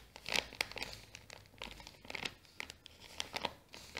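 A small brown kraft paper bag with a sticker is scratched by long nails while fingers crinkle its folded top. Bright, dry crackles and scratchy rustles come in quick, short bursts with almost no low end, centered around 2.4 kHz and stretching higher.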